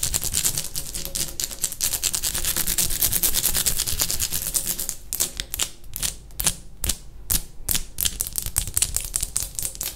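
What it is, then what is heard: Textured ceramic wall tile tapped with fingernails. Long painted fingernails of one hand tap and scratch a bathroom wall of light grey textured ceramic tiles with a solid surface. For the first half there is a dense, fast stream of bright, dry clicks and scraping over a low steady rumble. After that it thins into sparser, sharper individual taps with short pauses between them.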